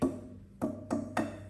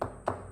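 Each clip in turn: First: resonant plywood panel. Second: tonally dead laminated hardwood panel.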